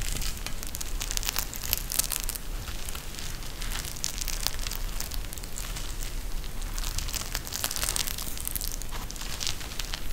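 A pink eye mask with fabric trim and a clear plastic shell filled with gel beads is held in both hands and squeezed by the fingers. This produces a steady, dense crackling and crinkling with bright, sharp bursts over a low background rumble for about ten seconds.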